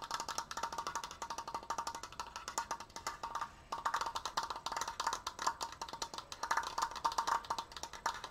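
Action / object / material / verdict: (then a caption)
tap / wooden decoration / wood / none. Fast, continuous tapping on a wooden Triforce decoration produces a rapid stream of short, dry wooden clicks with a woody tone near 920 Hz and a bright top. There is a brief pause at about 3.7 seconds before the quick tapping resumes and carries on to the end.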